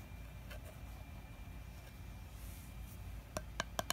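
A fingertip and nail tap the flat gold metal screw lid, printed with a honeycomb pattern, on a glass honey jar. Four quick, sharp taps come near the end, each with a short metallic ping around 660 Hz and bright overtones. Before them there are a few faint ticks over a low background hum.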